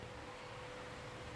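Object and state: Nothing is struck.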